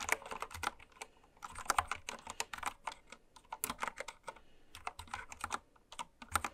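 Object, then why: Mechanical keyboard with plastic keycaps. Fast typing with long red nails and fingertips on a full-size, white-cased Candy Series mechanical keyboard with pastel plastic keycaps, lying on fabric. Quick bursts of sharp, bright plastic clacks ring out with brief pauses between them, each keystroke dying away almost instantly.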